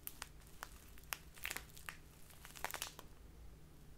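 A small crinkly plastic bag full of loose tea is crinkled and rubbed by fingertips and long nails. It gives quick, bright, dry crackles and sharp snaps that stop instantly, over a faint steady low hum.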